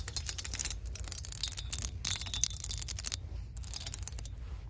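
An open hand with long nails sweeps and rakes across a row of metal hanger hooks holding jeans on a store clothing rack, so the hooks rattle against each other. Bright, rapid metallic clicks and scratches come in bursts with short pauses between sweeps, over a steady low rumble.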